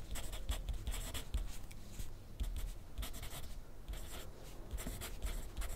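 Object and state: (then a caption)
Pencil writing on paper. A wooden pencil scratches across a thin sheet of grid paper on a clipboard in continuous writing strokes. Quiet, dry scratching comes in short bright bursts over a steady low rumble, with no ring after each stroke.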